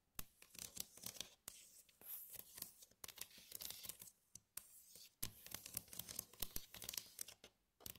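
Long acrylic nails tap and trace along the ridges and dividers of a glossy red plastic compartment tray, medium-sized, hollow and empty. Quick, sharp clicks that stop short alternate with bright, scratchy tracing strokes in an irregular, busy rhythm. The tray gives a light, hollow plastic tick with almost no ring.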